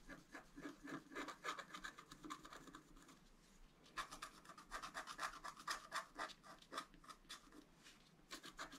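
A wooden stylus scratches across a flat black-coated scratch art card, etching a deer's face and antlers. Quick, uneven strokes make a dry, papery rasping with bright, scratchy edges centered near 1.8 kHz. The sound fades to a softer rustle for about a second near the middle before the strokes resume.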